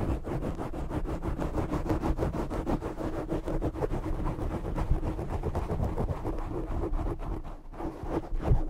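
Short fingernails scratch over the black foam windscreen of a condenser microphone, producing a dense, continuous scratchy rumble made of rapid strokes. The sound is heavy in the low end with little high content, holds a steady level throughout, and swells into a louder burst at the very end.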